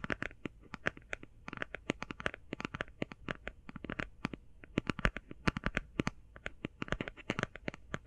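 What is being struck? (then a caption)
Cardboard eyeshadow palette. Long painted fingernails tap fast on a closed, flat, rectangular, hand-sized cardboard eyeshadow palette held close to the microphone. A rapid, uneven run of dozens of crisp, dry clicks, each dying away almost instantly with bright tops, rides over a faint low hum.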